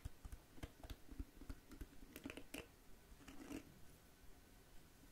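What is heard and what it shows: Long nails scratch and strum the flexible bristles of a small pink plastic detangling hairbrush, then tap its hollow-looking smooth plastic back. The result is a quiet run of about eleven quick, irregular taps and flicks: dull low thumps with brief bright scratchy edges that die away almost instantly.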